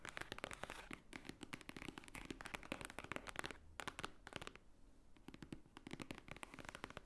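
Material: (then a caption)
Paper. Long nails tap rapidly on the top cover of a large, thick, white-edged book lying flat, a solid paper stack. The result is a dense run of quiet, dry, bright clicks with almost no ring, broken by two short pauses near the middle.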